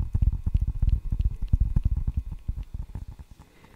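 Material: Rubber, wood.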